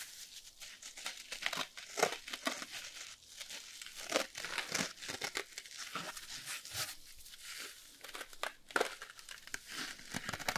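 A small yellow foam kitchen sponge with a green abrasive scouring layer is held in both hands while fingertips and nails scratch and rub the green scouring side. The result is a dense, bright, crinkly scratching with many short rasping bursts and little low end, heard up close in a small indoor space.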